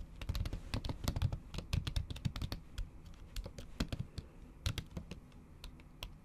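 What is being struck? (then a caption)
Laptop keyboard with plastic keyboard cover. Long acrylic nails tap and type on a MacBook keyboard covered by a thin pink plastic/silicone cover, producing a fast, uneven stream of short, dry clicks. Each tap has a soft low thump with a bright click on top, and the busy bursts ease into lighter, sparser taps near the end.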